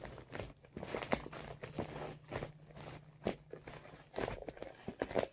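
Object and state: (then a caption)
Vinyl makeup bag tapped and scratched. Fingertips and short nails tap and scratch the top and sides of a medium blue holographic PVC/vinyl makeup bag that is hollow and soft. Quick, soft, crinkly taps and scratchy rustles come in irregular bursts. A faint steady low hum runs underneath.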